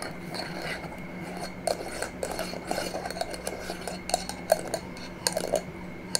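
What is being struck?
Small glass jar with metal screw lid.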